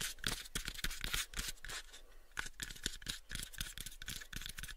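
Fingernails scratch across the face of a light, pale wooden box held close to the microphones. Rapid, uneven scratchy strokes come about three or four per second, each a bright, high rasp over a dull low body. The strokes are short and dry, dying away almost at once.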